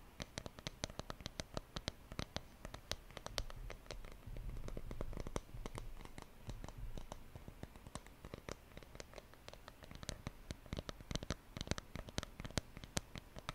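Fingers tap on a wooden surface in a quick, irregular patter of short, dry knocks that stop instantly with no ring. A steady low hum sits underneath and swells for a few seconds in the middle.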